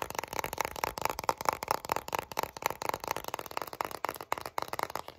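Long nails rapidly tap and scratch the back label of a full, translucent plastic Vaseline jar filled with petroleum jelly. About fifteen quick, dry clicks ring around 880 Hz over a bright scratchy hiss, each dying away almost instantly.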